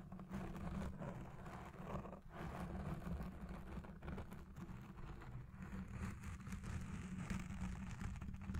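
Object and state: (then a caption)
Foam microphone windscreen being scratched. Long red nails and fingertips of both hands scratch and rub a soft, porous black foam windscreen dome on a Blue Yeti Pro microphone. The result is a continuous, dense, low rumbling scratch with little high-end content, swelling and dipping slightly throughout.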